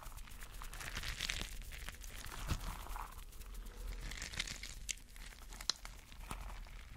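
A spiky, clear rubber mesh stress ball filled with colorful gel water beads is held in a hand while fingers squeeze and rub it. The result is a steady stream of soft, squishy crinkling and rubbing sounds with sharp, bright little crackles and snaps over a low background rumble.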